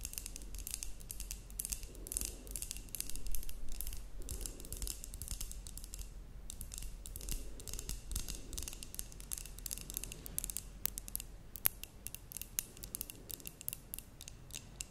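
Long nails tap and scratch over a glass terrarium jar with a cork lid that holds soil and moss. The result is a rapid, irregular run of bright clicks and scratchy high-pitched rasps over a steady low hum, with a few sharper taps standing out.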